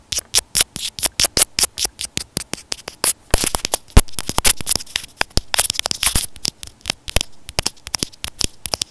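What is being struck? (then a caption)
Plastic earphone inline microphone. A white plastic inline microphone on an earphone cable, held up in both hands, is tapped and scratched with fingernails. It makes a rapid series of sharp, dry clicks with a low thump and a bright crackle. The taps run steadily at first, then blur into denser scratchy rustling before separating into quick taps again.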